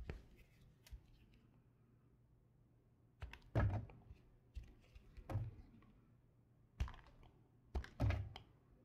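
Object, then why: Soap bar cut with a knife. A knife with a red patterned blade shaves and scrapes the surface of a solid light blue bar of soap held in the palm. Soft, dull thunks and short scraping bursts come in uneven strokes, with the loudest cuts in the second half. They sit over a quiet low hum, and each stroke fades quickly.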